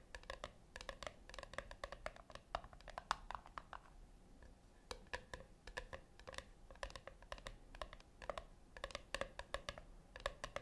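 Long acrylic nails tap rapidly on the flat top of a small, round, brushed-silver metal tin resting on a white cloth. The taps come in quick clusters of dry, clicky hits with a light metallic tone centered around 1 kHz and bright upper overtones, each dying away almost instantly. There is a brief, quieter lull near the middle.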